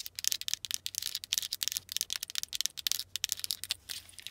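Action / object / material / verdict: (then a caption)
tap / plastic key fob with rubber buttons / plastic / none. Long acrylic nails tap and scratch the rubber buttons and surface of a small plastic car remote key fob with an attached metal key ring and charm, resting on a fabric-covered knee. The result is a rapid, uneven run of dry, bright clicks and scratchy rasps with almost no low end, each dying away instantly, possibly with a faint jingle from the key ring.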